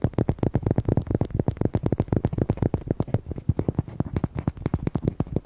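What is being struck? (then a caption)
Hollow rubber duck toy. Fingernails rapidly tap and scratch the back and side of a red, hollow, palm-sized rubber duck toy. About 33 quick, uneven taps land over five and a half seconds, each a short, dull, low thump that dies away at once, with faint scratchy rustle between them.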